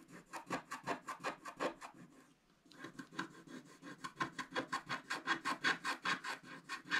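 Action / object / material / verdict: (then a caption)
scrape / scratch-art paper scratched with a wooden stick / coated paper / none. A wooden stick scratches the coating of a black scratch-art paper page in quick strokes while the other hand holds its bottom edge. The result is a run of about 27 dry, raspy scratches with a brief pause in the middle, bright and hissy with little low end.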